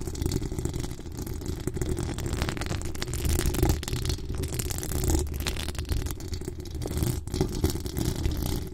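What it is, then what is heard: Metal mesh microphone grille being scratched. Long acrylic nails on both hands scratch across the top of a hollow metal mesh microphone grille. The result is a steady, dense, rumbling scrape, heavy in low frequencies, with quick rattling strokes and little high-end brightness throughout.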